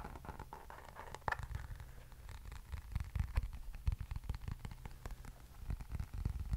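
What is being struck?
Plastic hairbrush.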